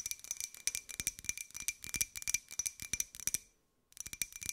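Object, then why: Small ceramic jar. Long nails tap and scratch all around the outside of a small, hollow, empty white ceramic cup-shaped jar with a pink and gold pineapple print. The result is a quick, irregular run of bright, clicky taps, each carrying a faint high ceramic ring, with almost no low end. The tapping breaks off briefly near the end, then starts again.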